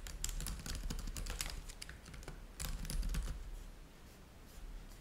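Both hands rapidly tap with their fingertips on the plastic chiclet keys of a black laptop keyboard with a trackpad, the laptop lying flat on a white table. Quick, irregular bright clicks come in a dense burst, pause briefly around two seconds, return in a second flurry, then thin out over a steady low hum.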